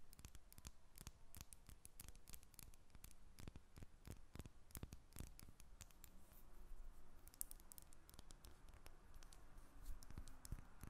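A solid square lavender soap bar with an embossed label is held while long red nails tap and scratch it. Quiet, rapid, sharp clicking taps mix with bright scratchy strokes, each dying away almost instantly over a low, steady background.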